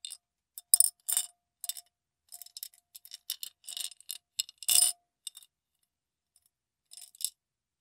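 A clear glass mason-style jar with a metal lid, partly filled with small purple beads, is held in the hand and tilted and shaken so the beads roll and rattle against the glass. Irregular bursts of bright, high, crisp clicking and rattling come and go with short silent gaps. There is no low end, and the bursts stop quickly.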